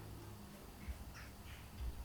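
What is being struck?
Nothing is struck.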